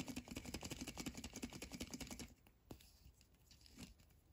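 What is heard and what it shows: A small hollow red plastic surprise egg capsule with a paper label is held in both hands and turned over while fingertips and short nails tap and scratch its surface. A quick, uneven run of light, typing-like clicks with a hollow plastic tone lasts about two seconds, then gives way to quieter scratching and a couple of isolated sharp taps.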